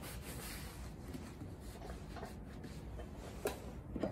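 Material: Leather.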